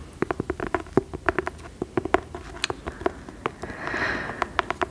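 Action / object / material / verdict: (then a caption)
tap / cloth-covered hardcover book / cloth, board / none. Long nails tap the cover and spine of a cream fabric-covered hardcover book with a dark label, held close, producing a quick, irregular run of dry, short clicks with a low-mid knock around 380 Hz. A softer, hissy swell rises briefly near the end before the tapping resumes.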